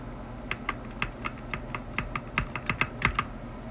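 A black tenkeyless mechanical keyboard with plastic ABS keycaps, a metal top plate and stock, unlubed linear switches sits on a white desk while a single fingertip presses individual keys one by one. About fourteen separate short, bright plastic clacks are heard, each with a low thock underneath and a quick decay, spaced unevenly.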